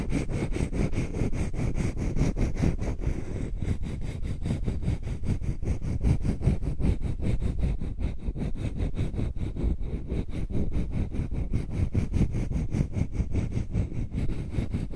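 Long nails tap rapidly on the flat surface of a solid heart-shaped wooden block held over a microphone. The result is a dense, irregular stream of dull, low-pitched knocks with very short decay that runs steadily throughout.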